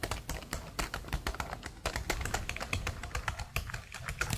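Long blue nails type and tap quickly across a black plastic laptop keyboard with hollow plastic keycaps. The result is a rapid, uneven run of sharp, bright clicks with short hollow knocks and very little ring between strokes.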